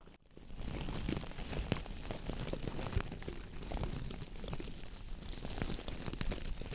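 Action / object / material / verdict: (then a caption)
scrape / coir bristle dish brush with wooden handle / coconut fiber / none. A hand squeezes a round coconut fiber (coir) dish brush with a wooden handle, then fingertips and nails rub its stiff bristles. After a brief quiet start, a dense, continuous crackling and scratchy rustle sets in, with quick crunchy clicks scattered throughout and most of the weight in the low range.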